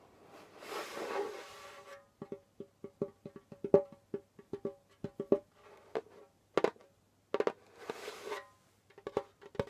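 Fingertips tap and brush a pale djembe's skin head. A soft brushing swell is followed by a run of about 18 short, dry taps with a low-mid tone near 400 Hz. A second brushing swell sits among the final taps, and each tap dies away almost at once.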